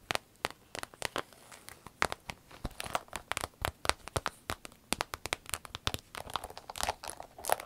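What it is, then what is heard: Vinyl zip pouch (empty). Long nails scratch and tap an empty, medium-sized green striped glossy vinyl zip travel pouch before it is held up. The result is a rapid, irregular run of short, dry, crinkly taps and scratchy rustles with bright edges and almost no ring.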